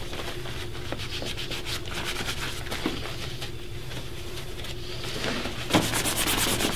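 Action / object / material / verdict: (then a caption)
scrape / leather dress shoe / leather / none. A black polished leather dress shoe, worn on a foot resting on a wooden shoe-shine stand, is rubbed and buffed briskly with a white cloth wrapped around the fingers. Quick, steady swishing strokes give a bright, airy texture over a low, constant hum, with a few faint taps along the way. Near the end, a sharper knock is followed by louder, faster buffing.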